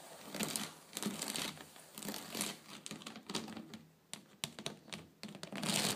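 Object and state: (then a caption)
Woven wicker surface scratched. Fingers and long nails rub and scratch over the weave of a flat woven rattan/wicker tabletop, making dry, crinkly, bright rasping bursts that swell and fade. Sharp little clicks and ticks cut in between the strokes as the nails catch on the weave.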